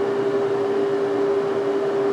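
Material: Nothing is struck.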